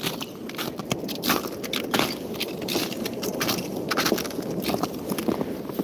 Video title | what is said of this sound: Iowa A K is live! | this ice sounds so cool when you walk on it